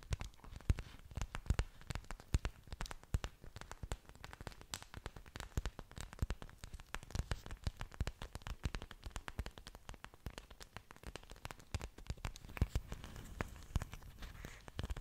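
Long nails and fingertips tap rapidly on the surfaces of thick, waxy green orchid leaves held close to the mic. The result is a dense, continuous patter of short, dull taps and crackles, heavy in low thumps, with a few sharper clicks standing out.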